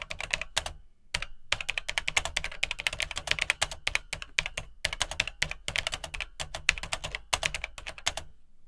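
Fingertips type on the dark plastic keycaps of an Atari 800XL home computer keyboard in its hollow plastic case. Quick bursts of bright, clacky key clicks with almost no ring-out are separated by brief pauses, carrying only a little low thump beneath the sharp high clatter.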